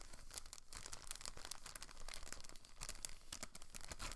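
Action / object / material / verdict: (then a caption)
scrape / thin clear plastic bag / plastic / none. A thin clear plastic bag holding a blue rotor guard for a Protocol Slipstream quadcopter stunt drone is held in both hands and crinkled and rubbed by fingertips with long nails. The result is a steady, quiet stream of dense, bright crinkling and crackling with a faint low rumble underneath.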